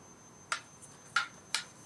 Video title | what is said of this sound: Hanwei Tactical Katana Review | it sounds like metal against metal, but this is made of fiberglass or something, so it's not metal